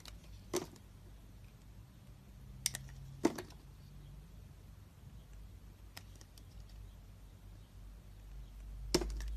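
A utility knife blade slices and peels thin layers from a solid, hand-sized orange and yellow striped bar of soap held in the hand. A few sharp, crisp cutting clicks with bright edges stand out, spaced irregularly over a steady low hum. Each click dies away almost at once.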